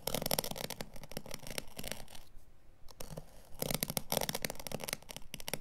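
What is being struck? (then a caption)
Synthetic-pile carpet offcut scraped with a craft blade. A craft blade draws through and scratches along the pile edge of a dark, synthetic-pile carpet offcut held by the fingers. It makes dense, rapid, bright scratching and tearing strokes with a low rumble underneath. The strokes ease into a quieter stretch midway, then return just as busy.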